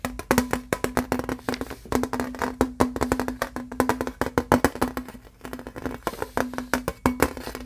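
Fingertips and nails tap quickly on a thin embossed aluminum license plate, silver side facing out. A rapid, uneven run of short, dry clicks dies away almost at once, with a low tone near 280 Hz sounding under the taps for most of the clip.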